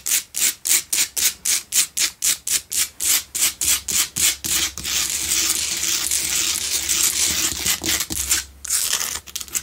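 Long nails from both hands scratch a lit pink Himalayan salt candle holder, a solid salt block built to hold two candles. A rapid, steady run of separate, bright, raspy strokes blurs into continuous fast scratching, then breaks briefly before the strokes return, all high and hissy with almost no low end.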